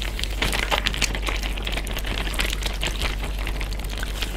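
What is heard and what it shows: A clear plastic Ziploc bag full of water, with other bags nearby, is tapped, patted and crinkled by a flat hand, fingertips and short nails. Dense, bright crinkling and crackling taps run steadily throughout over a constant low hum, with soft, watery slaps mixed in.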